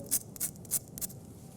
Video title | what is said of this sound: Fabio's Kitchen: Episode 38, "Salmon & Creamed Spinach" | listen how crispy the skin is